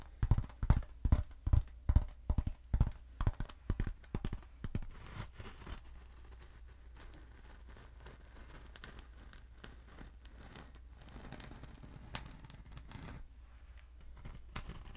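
Long acrylic nails tap on a short, thick, black hollow polyethylene foam tube held upright, making a quick run of dull, low thumps over the first five seconds. The tapping then gives way to quieter, rustling scratches across the foam, with a few sharper clicks near the end.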